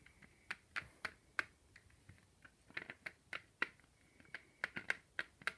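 A large, unwrapped, hollow dark chocolate Easter egg with a ribbed surface is held in both hands on a white table while fingertips and short nails tap across its shell. About 17 sharp, dry, bright clicks come at an irregular pace, each with a hollow tone near 1.6 kHz that dies away almost instantly.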